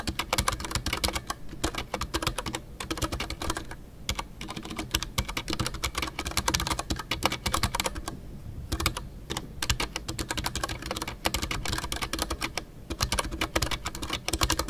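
Fingertips type continuously on a full-size Ducky One 2 mechanical keyboard with a white case, MX Brown switches, and PBT plastic keycaps, including custom artisanal keycaps. Rapid keystrokes each give a bright, crisp tick over a low thump and die away almost instantly. Brief lulls near 4, 8 and 12.5 seconds break the steady clatter.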